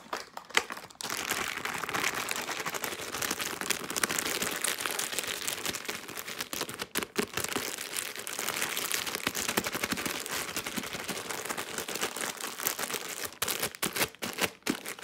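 Long pink nails rapidly scratch, squeeze and crinkle a soft plastic-film Huggies baby wipes pack filled with wipes. The result is a dense, bright, continuous crackling rustle with almost no low end, broken by brief pauses near the start, around the middle and toward the end.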